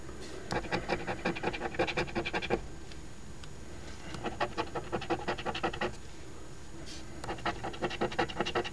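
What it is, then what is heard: Scratch-off lottery ticket being scraped with a coin. The edge of a metal coin scrapes the silver latex coating off the number spots of an Ontario Lottery OLG $5 5X Money Multiplier instant scratch ticket, a flat, thin cardboard ticket held down with the other hand on a white table. Three bursts of rapid, rasping scratch strokes are heard, separated by short quiet pauses.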